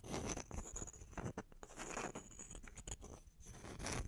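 Long fingernails scratch and tap across the faces of two small, solid, round wooden log slices held on their edges. The result is a quiet, dry patter of quick taps and rasping scrapes with low thuds and bright scratchy edges, over a faint steady high tone.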